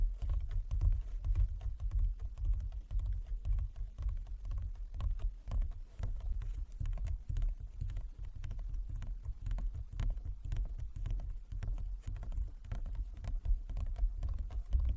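Fingertips and long nails of both hands tap rapidly across a large, flat, inlaid wooden chess board with light and dark squares and a wooden frame. The result is a steady, uneven patter of short, dry taps with a deep, hollow thud underneath and bright clicks from the nails, each dying away almost at once.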